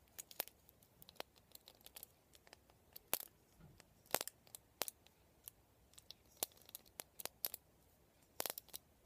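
Fingernails scratch and flick the plastic pin bristles and vented ribs of a black plastic vent hairbrush held upright. About thirty quiet, uneven, sharp clicks and ticks come through, dry and bright with almost no low end and no ring, separated by faint scratchy rustling.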